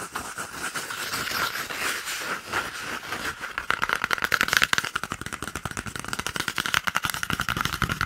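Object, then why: Cardboard paper roll tube. An empty, hollow, hand-sized brown cardboard toilet paper roll tube is held in one hand while the fingertips and nails of the other hand scratch and tap it close to the microphone. A soft, dry scratching comes first, then from about 3.7 seconds it turns into a fast run of short, hollow taps with a steady resonant tone near 1.5 kHz and bright papery highs.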